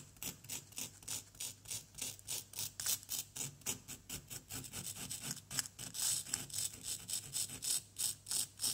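The tip of a wooden stick repeatedly scratches and scrapes a small solid yellow plaster block from a dig kit. There are about 34 quick, brisk strokes in a steady rhythm, each a dry, bright, hissy rasp with almost no low end and no ring after it.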